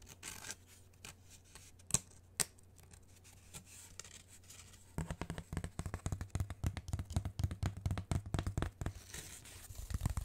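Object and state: Cardboard sheet scratched and tapped.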